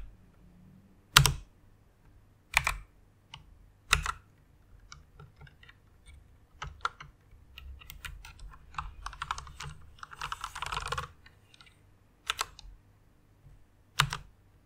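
Fingertips with long nails type on a white plastic mechanical keyboard. Sharp, bright clacks stand out at intervals, with a denser run of softer, quicker key taps in the middle and a brief flurry near the end of that run. A faint low hum sits underneath throughout.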